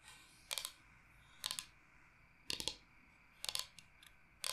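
Long nails tap rapidly on the face of a large, flat, solid bamboo cutting board shaped like the state of Michigan. The taps come in short, bright clicking bursts spaced about a second apart, each dying away almost instantly over a quiet background.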